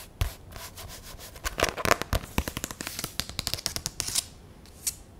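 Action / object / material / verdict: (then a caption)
tap / spiral notebook with cardboard cover / cardboard / none. A black hardcover spiral sketchbook of medium size with a cardboard cover is held up and tapped and scratched on the cover with long nails. Quick, dry clicks and scratchy rubbing come in irregular bursts, with sharp taps that die away almost instantly.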